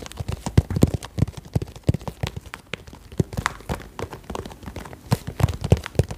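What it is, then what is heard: Hollow vinyl pencil case. Long nails tap and scratch along the surface of a hollow, cylindrical, iridescent croc-textured holographic vinyl pencil case held upright. The taps come in a quick, uneven stream of short, dull, low thumps that die away almost instantly, with faint scratchy rasps between them.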